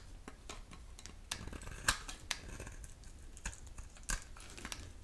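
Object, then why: Bar soap scraped with a metal blade. A dry, solid pink oval bar of soap with a pink core and black shell is held in the hand and scraped and shaved with a metal utility knife blade, so thin pink curls fall off. Quiet, dry scraping runs throughout, broken by short, crisp, bright shaving strokes that die away almost at once.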